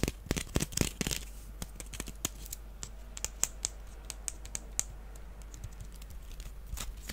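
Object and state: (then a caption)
Wicker basket tapped and scratched. A small, empty, hollow woven wicker basket shaped like a duck is held in the hands and scratched and tapped with fingernails. A dense burst of sharp, dry clicks and crackly scratching opens the clip, then thins into sparser, irregular taps over a faint rustle.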